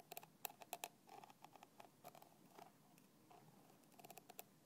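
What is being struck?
Plastic bottle cap.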